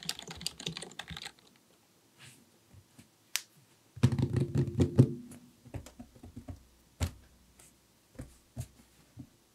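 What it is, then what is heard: Plastic computer keyboard. Fingertips of both hands type rapid taps on a full-size black plastic computer keyboard with a hollow housing, resting on a desk. Dense bursts of low, hollow key clacks with short, dry decay are separated by quieter gaps, with scattered single taps toward the end.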